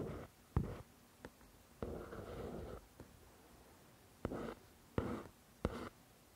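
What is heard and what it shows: A long nail scratches and traces the paper cover of a paperback copy of "The Shack," held partly in close-up. Soft, dry scratching strokes each start with a sharp tick and fade into a short rasp, separated by quiet pauses, with the sound mostly low and muffled.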